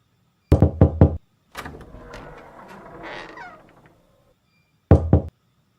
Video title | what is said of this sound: SBDP - ALAM DAN BUNYI BUATAN By Hikmah | suara ketukan pintu bunyi yang dihasilkan ketika kita mengetuk pintu